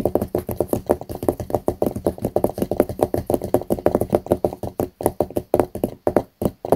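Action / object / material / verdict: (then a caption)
tap / notebook with hard card or plastic cover / coated card / none. Fingertips and short nails tap rapidly on the blue hard cover of a small closed notebook lying flat on a mouse pad. The result is a fast, uneven run of dry, muffled taps with no ring, centred in the low midrange with almost no high-frequency content.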